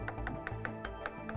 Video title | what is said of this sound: Drum Sander Abrasives - How To | if you hear a hollow spot or a loose spot, you can hear it, the paper sounds completely different, just like tapping on something that's hollow